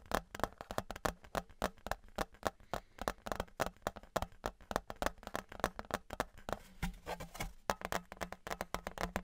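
Fingertips and nails tap and knock on a thin, flat, embossed metal Patriots souvenir license plate held in both hands, then tilted to one side. Quick, irregular clicks and soft knocks follow one another closely, each dying away almost at once with a faint metallic tone.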